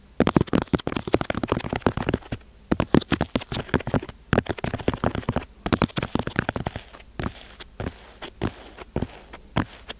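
Fingertips and nails tap and scratch the top of a solid rectangular block of grey-beige kinetic sand, molded from a box and set on a white board, with microphone cables leading into the sand. The result is a dense run of short, dry, crackly taps with a soft low thump, broken by quieter gritty scratching between the bursts.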